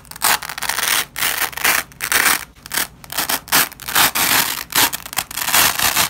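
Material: Nylon.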